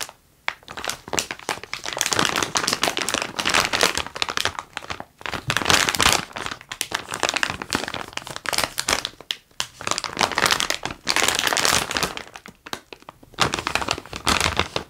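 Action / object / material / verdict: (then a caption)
scrape / plastic bag of wax-paper-wrapped taffy / plastic / none. A medium-size clear plastic bag full of wax-paper-wrapped salt water taffy pieces is held in both hands and squeezed and crinkled with the fingertips. Bright, dense crinkling and crackling comes in bursts of a second or more, separated by brief near-silent pauses. Each crackle stops almost instantly with no lingering ring.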